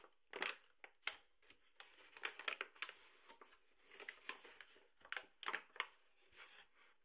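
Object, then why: Paper bag of flour. A partly full paper bag of all-purpose flour stands upright while fingertips crumple and fold its open top. The result is a quiet, dry run of crisp crinkling bursts, bright and papery with almost no low end, each crackle dying away at once.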